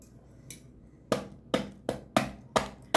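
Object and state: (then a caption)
Crispy baked filo pastry crust. Seven crisp, crackly taps on the surface of a freshly baked potato börek made from ready-made filo dough, starting with a faint one and then louder, sharper hits at an uneven pace. Each tap gives a short, bright crunch that dies away almost at once. The sound shows the crust is crispy and well baked.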